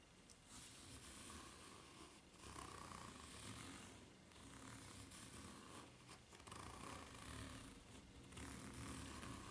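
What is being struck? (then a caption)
Rubber flip-flop sole with serrated ridges. Long nails scratch slowly along the serrated ridges of a white ridged rubber flip-flop sole held bottom-up at an angle. Quiet, raspy scratching comes in slow, uneven sweeps, with a faint whistling tone around 1 kHz and a soft low rumble underneath.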